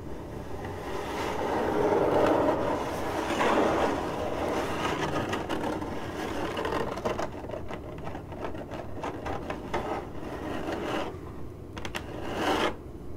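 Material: Cardboard.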